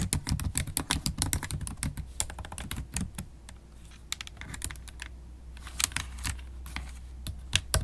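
Continuous typing on a MacBook Pro keyboard, black plastic keys in an aluminium body, with long acrylic stiletto nails whose tips click against the keys. Rapid, bright, sharp clicks come in dense bursts, thinning out midway and picking up again, over a steady low hum.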